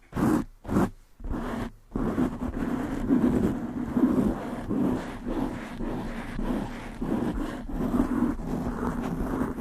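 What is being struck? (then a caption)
Foam microphone windscreen. Long nails and fingertips of both hands quickly scratch the black porous foam windscreen on a desktop microphone. A few short, separate bursts open into a dense, continuous rough scratching and rustling, with a muffled low-mid body and rhythmic swells as the strokes repeat.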